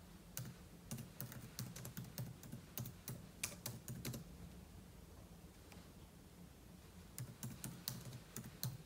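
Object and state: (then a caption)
Laptop keyboard typing. Fingertips type on the plastic keys of a silver aluminum laptop, with an open book lying untouched beside it. Quick, soft clicking taps come in bursts with a quieter lull in the middle, each key strike giving a bright tick over a low thump.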